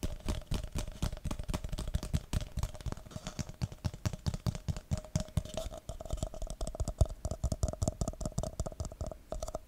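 Fingertips and nails tap rapidly on the side of an empty red plastic party cup held over the mic. The result is a quick, continuous stream of muffled, bass-heavy clicks and thumps that die away almost instantly, with a faint steady tone humming underneath.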